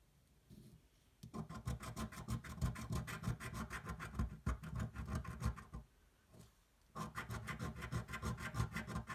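A coin scratches the latex panels off a thin coated paper scratch-off lottery ticket held flat with one hand, in quick, repeated strokes. The dry, rasping scrapes come in a steady rhythm of about three per second, with a brief pause before a second run of scratching.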